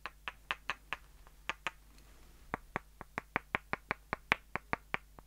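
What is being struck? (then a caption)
Two light wooden dowels knocked together. Two short, solid light-wood dowels, one held in each hand, have their ends tapped and knocked together in a steady run of about twenty crisp, dry clicks. The clicks are bright, woody and very short, with a brief pause near the middle before the tapping resumes, set over a faint low hum.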